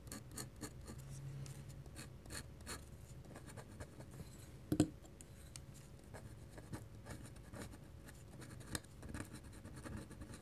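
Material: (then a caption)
Paper. A black pen's metal nib scratches dense hatching strokes across a flat white paper drawing sheet. Quiet, dry, rhythmic scratching comes in quick short bursts, with one sharper click partway through.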